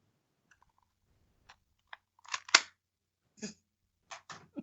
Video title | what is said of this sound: FUNNY - Joe Cronin ROASTS his Interview - TOMMYNC2010 returns - CORRUPTED PODCAST 126 | That sounds plastic.